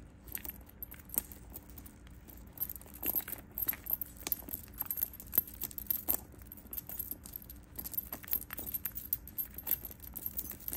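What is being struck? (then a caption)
Metal chain strap of a handbag. A hand lifts and shakes the gold-tone metal chain strap of a cream quilted handbag, so the links jangle against each other and against the bag. The result is soft, bright metallic jingling in irregular bursts that die away almost instantly, over a quiet low background hum.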